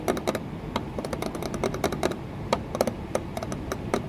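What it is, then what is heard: Patterned glass window pane. Long nails tap and scratch an embossed green patterned glass panel set in a wooden window frame. A quick, irregular run of light, clicky taps with a short glassy ring sits over a faint scratchy hiss.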